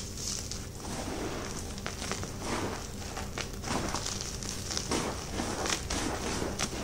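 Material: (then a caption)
Magnesium carbonate. Both hands with short painted nails grab, squeeze and crumble solid, dry chunks from a large heap of white gym chalk (magnesium carbonate) chunks and powder on a dark surface. A steady, gritty crunching plays throughout, with bright crackling bursts and soft low rustling as the chunks break down into powder.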